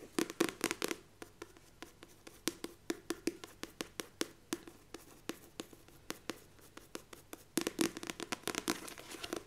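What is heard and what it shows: Long nails and fingertips tap the laminated cover of a glossy paperback book held close by. Quick, dry, clicky taps come in fast flurries at the start and end, with slower, evenly spaced taps in between. Each tap is short and bright with almost no low end.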